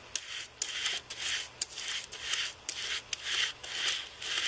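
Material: Plastic.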